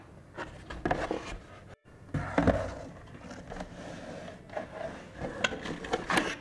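A small, closed, white printed cardboard box for a LaCie Porsche Design hard drive, probably with the drive inside, is held and turned in both hands and rubbed with fingertips. Soft papery rubs and scrapes are broken by dull taps, with a brief silent gap early on. The box is then set down on a wooden desk with a few soft knocks.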